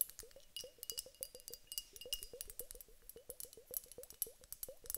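A teardrop-shaped glass vase filled with clear water beads is held in the hands, shaken and tapped with long acrylic nails. It makes a rapid, quiet series of short, bright clicks and clinks, each with a small springy upward chirp in the midrange. The taps stop almost instantly, with only a faint high glassy sparkle between them.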